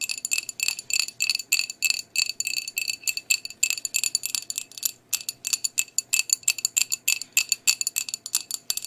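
Long nails tap and scratch across a flat, medium-sized white glazed ceramic plate with a blue rim. The result is a quick, irregular stream of bright, high clicks and ticks with almost no ring and no low end.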